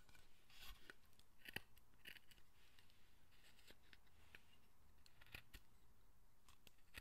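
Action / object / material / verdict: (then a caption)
scrape / carved wooden figure / wood / none. A steel carving chisel or knife cuts and scrapes the face area of a hand-held, pale, unpainted Buddhist guardian figure of solid carved wood, about forearm size. Quiet, dry, crisp snips and scratchy scrapes come in short strokes, with bright clicky edges near 1.9 kHz over a faint low background hum.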